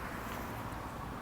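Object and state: Nothing is struck.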